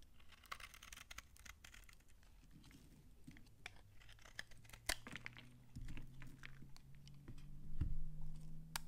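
A knife blade scrapes flaky curls off a shrinking, solid, old dry brown laundry soap bar, making a run of quick, crisp, crunchy scratches and ticks that die away almost at once. A low steady hum sits underneath, and the sound ends as the bar is held up.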